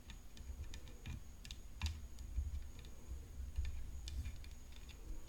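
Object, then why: Composite tennis racket frame tapped with fingernails. Long nails tap near the throat of a hollow, rhinestone-decorated composite tennis racket frame resting on black cloth. The result is a quick series of light, dry clicks with bright, sharp edges over a low, steady rumble, each tick dying away almost at once.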